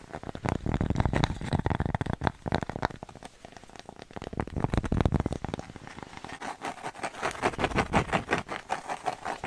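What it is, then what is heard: Cork coaster. A thin, flat, square cork coaster with a red dot, solid and held in the hand, is rapidly tapped and scratched with long nails. Dense, dull, low-heavy taps and scrapes patter quickly throughout. Toward the end the strokes shift to a brighter, more even rhythmic tapping.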